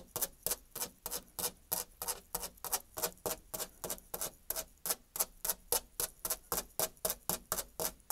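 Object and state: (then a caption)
Painted molded panel door. Long nails rapidly scratch and tap on the flat surface of a white painted, textured molded panel door. About 31 quick, dry, bright scrapes-and-taps are heard in a steady, fast rhythm with almost no ring between them.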